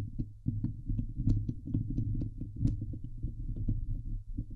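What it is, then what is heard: Metal mesh microphone grille. Fingernails scratch the sides of the hollow steel wire-mesh grille on a Blue Yeti microphone head. The result is a dense run of low, boomy, thudding scrapes with a deep hum underneath and occasional faint bright ticks.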